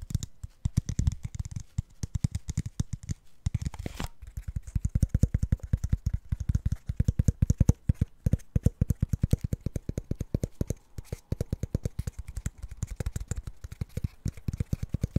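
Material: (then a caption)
Plastic. Fingertips and nails tap, scratch and twist the blue plastic cap and label of a hollow, empty clear plastic water bottle. A fast, steady stream of short, dull, hollow taps carries most of its weight in a low thump, with a brief rustling scrape just before the four-second mark. The taps die away almost instantly, leaving a dense, dry patter.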